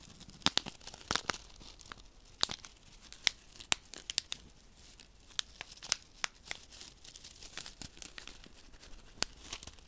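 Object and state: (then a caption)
Paper silica gel sachet being crinkled. Fingertips pinch, rub and crinkle a small, flat paper desiccant sachet filled with silica beads. Dry, bright crackles and sharp papery snaps come in irregular bursts over a soft rustling bed, with almost no low end and no ring after each snap.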